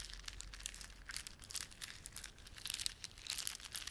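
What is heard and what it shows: Fingertips rub and squeeze a plastic beaded ornament, producing a quiet, continuous stream of bright, crinkly clicks and scratches. The crackling bursts rise and fall over a faint low rumble, with a denser flurry near the end.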